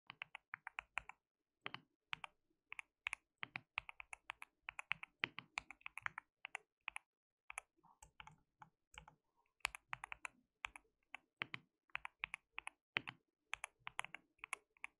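A compact white backlit mechanical keyboard with white and pink plastic keycaps, resting on a desk mat, is typed on rapidly with the fingertips of both hands. Bright, crisp key clicks with a low thock come in quick bursts and short runs, separated by brief pauses, and each one dies away almost instantly.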